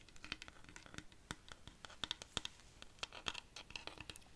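Long nails scratch along the textured wood of a large, hollow, dried-cactus rainstick held at an angle. The result is a quiet, dense run of bright, dry scratching clicks, each short and sharp with almost no ring. The sound centres near 3 kHz with little low end.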